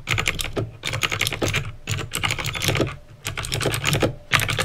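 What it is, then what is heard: Plastic mechanical keyboard with clicky switches. Fingertips with painted nails type quickly on a backlit plastic mechanical keyboard with clicky green switches. Bursts of sharp, bright clicks layered over a low, hollow clack come in quick runs, separated by brief pauses.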